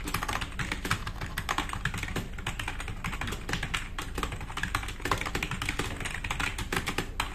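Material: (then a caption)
Plastic. Fast typing with both hands' fingertips on a black RGB-backlit tenkeyless plastic mechanical keyboard with plastic keycaps, resting on a wooden desk. A dense, steady stream of short, crisp clacks with very quick decay plays over a low, thumpy body throughout.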